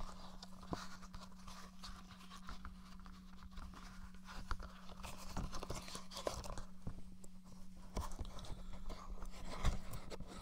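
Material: Plastic.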